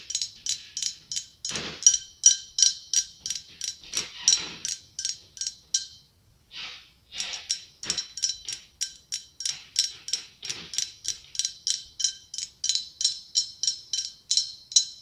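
Long acrylic nails tap and scratch a hollow white blown-glass pumpkin with a gold stem. They make a fast, uneven run of bright, clicky taps with a high, glassy ring that dies away almost at once. A few short scratchy swipes are mixed in, and there is a brief pause near the middle.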